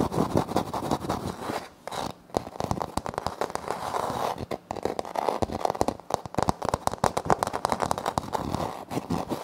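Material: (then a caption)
Laminate. Short nails on both hands scratch and tap a flat, solid wood-look laminate floor panel with a light wood-grain print. Rapid, crisp, dry clicks and scratchy rasps pile up densely, centered in the midrange with almost no ring, broken by a few brief pauses.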